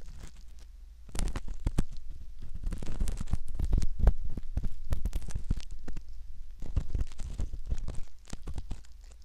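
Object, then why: Silicone ear model and metal ear pick. A metal ear pick scrapes and pokes inside the canal opening of a soft silicone ear model, making close, crackly scratching and rubbing sounds in dense, uneven bursts. Short crunchy ticks run over a low rumble, with quieter stretches at the start and end.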